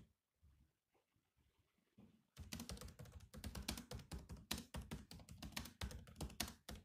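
Fingertips type on the black plastic keys of a silver laptop keyboard. A couple of seconds of faint, scattered taps give way to rapid, uneven bursts of loud, clicky keystrokes with short, dull thumps and bright clatter.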